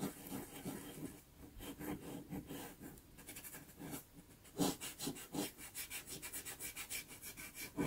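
A cotton swab held in the fingers is rubbed in small circles over a small taped sheet of Pastelmat pastel paper covered in pastel, blending a blue iris. The result is a soft, steady scratchy rubbing with quick repeated strokes, a broadband hiss reaching into the highs and a faint low-mid tone around 270 Hz.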